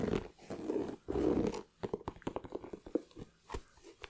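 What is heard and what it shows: A white leather Nike sneaker with a red swoosh, empty and held in the hand, is scratched and tapped by fingernails on its leather side and rubber sole. Three broad, rasping scratch bursts in the first 1.7 seconds are followed by a run of quick, dry taps with short gaps between them.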